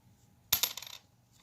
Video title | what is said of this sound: Let's find some Wheaties!!!🦖💰🤓 | you can just hear the kind of dead sound